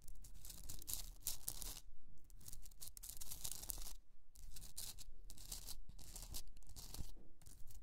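Long nails scratch the top edges of a rough rock-salt Himalayan salt candle holder in repeated strokes. Each stroke gives a bright, dry, gritty rasp, with short quiet gaps between bursts. A steady low hum runs underneath throughout.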